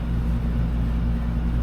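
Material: Nothing is struck.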